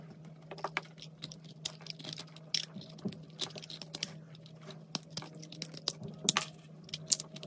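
A knife blade scrapes across the surface of a solid pink and white soap bar held in the hand, producing a rapid series of short, crisp, bright scratching ticks. A steady low hum sits underneath the quiet scraping.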